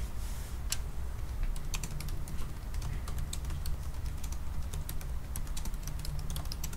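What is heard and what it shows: Both hands type continuously with their fingertips on a silver aluminium laptop keyboard with black plastic keys. Quick, bright, clicky taps come in an uneven stream over a steady low hum that runs throughout.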